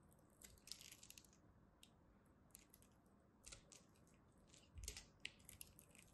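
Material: Soap.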